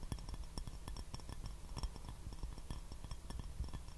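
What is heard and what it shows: A white porcelain teacup with a rose pattern, hollow and empty, is held upside down and tapped quickly with the fingertips. Each tap gives a soft, dull knock with a faint bright clink that dies away almost at once, over a steady low hum.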